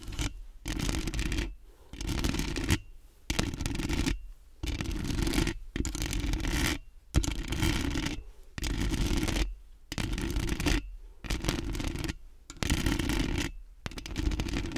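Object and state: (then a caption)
Metal mesh microphone grille being scratched. Long acrylic nails and fingertips scratch and rub quickly across the metal mesh grille of a large, round, hollow microphone. About a dozen bursts of coarse, sanding-like scratching are broken by brief silent gaps, with a heavy low rumble under a bright, gritty hiss.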